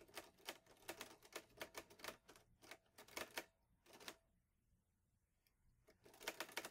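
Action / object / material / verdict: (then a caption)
strike / metal manual typewriter / metal / none. Fingertips type on the keys of a green metal Olivetti Lettera 22 portable manual typewriter, producing sharp, bright clacks in quick uneven bursts. The keystrokes stop for about a second and a half, with only faint ticks, before a final rapid flurry of strikes.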